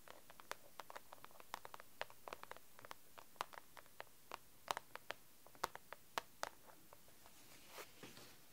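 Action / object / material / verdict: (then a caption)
tap / plastic document folder with papers / plastic / none. Long acrylic nails tap and scratch the cover of a pink plastic A4 document folder filled with papers, resting on a desk. About thirty quiet, sharp clicks come at an irregular pace, each dying away almost instantly. A few soft, bright scratching swishes sound near the end.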